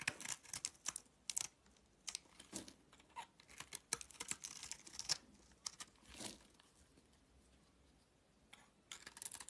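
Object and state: Soap bar being carved.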